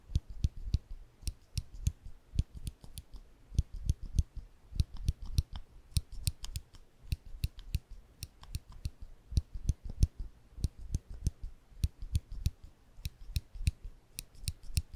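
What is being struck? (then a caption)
Small ridged metal clicker. A small rectangular ridged metal clicker, held between thumb and fingers over a microphone, is pressed rapidly, giving about 45 sharp, short clicks in a quick, uneven rhythm. Each click has a deep low thump with a bright metallic tick on top and dies away almost instantly.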